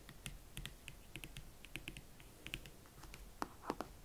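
Long nails tap and scratch across a single, hollow, empty hot pink leather Valentino Club Chelsea ankle boot with a platform sole, working over the leather upper, the elastic panel area and the platform. A quiet, steady run of light, dry, clicky taps with bright tops and very short decay gives way to a few louder, fuller knocks near the end.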